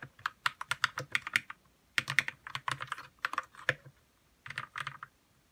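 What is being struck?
Plastic mechanical keyboard with plastic keycaps.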